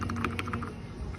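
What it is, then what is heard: Loose strut top nut. A loose steel top nut on the rear driver-side strut of a 2012 Mercedes GLK 350 is wiggled by hand, giving quick light clicks and rattles over a low background hum. The nut is looser than it should be, and once the strut was reassembled the rear noise was gone.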